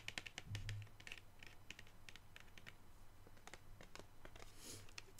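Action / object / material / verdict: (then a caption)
tap / cardboard box with plastic window / cardboard / none. Long pink nails tap rapidly on the front of a blue cardboard box of artist brushes with a clear plastic window, held upright. The taps are quick, dry and bright clicks with almost no ring, over a steady low hum.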